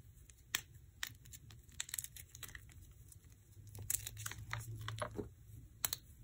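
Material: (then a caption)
Chalk powder. Fingertips and thumbs pinch and rub small lumps of dry white crumbled gym chalk (magnesium carbonate) in a black bowl, crushing them into powder. Soft, dry crinkling and crumbling textures carry sharp, bright crackles and quick clicks over a faint low rumble, getting denser toward the end.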